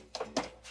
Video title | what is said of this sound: Why I Love French Toast! | You can hear the knock on it. So it's kind of dried out